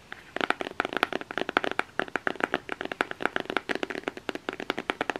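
A fingernail rapidly taps and scratches on the printed surface of a flat cardboard eyeshadow palette, making a quick run of about 39 dry, clicky taps. Each tap is short and papery with no ring, centred around 1.4 kHz with a bright edge and almost no low end.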